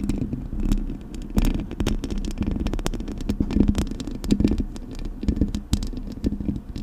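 Long acrylic nails scratch and tap across the hollow metal mesh grille of a Blue Yeti microphone. The result is a dense stream of short, scraping, rustling bursts with a boomy low-end rumble and a steady low hum underneath. The clicks are brief and dry, with little ring.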